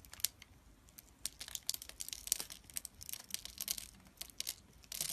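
A thin metal blade scores and scratches a grid into a solid, hand-sized, translucent amber glycerin soap bar held in the fingers, cutting off small cubes. It makes quiet, irregular bursts of bright, crisp scraping and crackling clicks with almost no low end, ending in a denser run of scratching.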